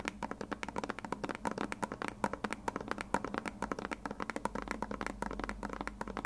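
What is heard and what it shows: A white, hand-sized plastic glue bottle with a blue nozzle, hollow and partly filled, is tapped and scratched with long red nails. About 42 quick, dry taps sound over six seconds, each with a short hollow knock pitched around 200 Hz and almost no ring. Faint scratching runs between them.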